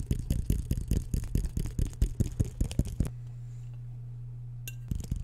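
A metal fork is scraped and tapped quickly across a medium white square ceramic plate, solid and empty, held upright in front of the mic. The result is a rapid, uneven run of short, dull clicks and clinks. After about three seconds it pauses to a low steady hum, then a brief bright scrape and a few more taps follow.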